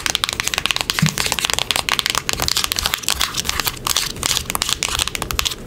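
A small, closed, hollow printed cardboard box is held in the hands and tapped and scratched with long acrylic nails across its face and edges. Rapid, dry, papery taps and crinkly scratches come in a fast, steady stream, each with a bright, crisp top and almost no ring. Little low-end body comes through.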